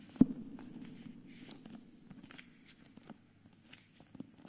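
Fingertips tap and scratch the edge and front cover of a hardcover book with a paper dust jacket. One sharp tap opens the clip, followed by a soft, continuous low papery scratching with faint, scattered taps. Each tap dies away almost instantly.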